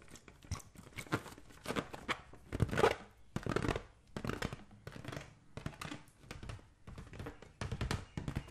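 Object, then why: Latex balloon filled with water. A green latex balloon filled with liquid is held in the hand and tapped with the fingertips. It gives a steady run of soft, dull taps and squishy rubbery rustles, with low sloshing beneath brief brighter crinkly bursts. The taps come in uneven clusters, with a louder stretch near the middle.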